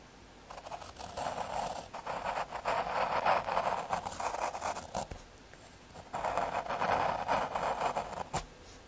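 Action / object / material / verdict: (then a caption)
scrape / thin MDF fiberboard drawn on with a graphite pencil / fiberboard / none. A graphite pencil tip draws outline strokes on a small square of thin, solid brown fiberboard (MDF/hardboard) lying on red cloth. Dry, scratchy strokes with a papery rasp centred in the mids around 750 Hz come in two long bursts, separated by a quiet pause near the middle. A brief sharp tick follows near the end before the scratching fades.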